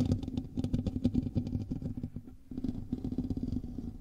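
Fingernails of both hands scratch the hollow metal mesh grille of a black microphone, making a dense, rapid run of scraping clicks with a strong low, rumbling body. The scratching thins out briefly just before the halfway mark, then resumes steadily to the end.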